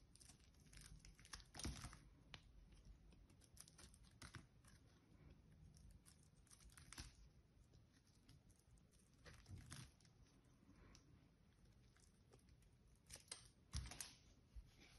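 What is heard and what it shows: A small metal blade scrapes and carves an unwrapped solid blue bar of soap, and chips fall off. Quiet, dry crumbling and scratching runs throughout, with a few louder, crisp carving strokes that have bright edges. Each sound stops almost at once with very little ring.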